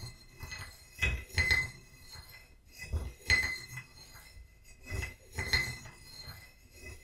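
A small, hollow, painted ceramic vase holding dried lavender and standing on a book is tapped with a wooden stick in three pairs of taps. Each tap gives a bright, glassy clink with a short ring near 2 kHz, fading quickly to quiet between pairs.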